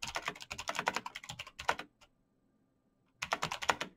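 Fingertips in fingerless knit gloves type fast on a black plastic mechanical gaming keyboard with clicky green switches, backlit keys and a hollow case. A quick run of sharp, bright clicks lasts about two seconds, followed by a brief silent pause, then another short burst of rapid clicking.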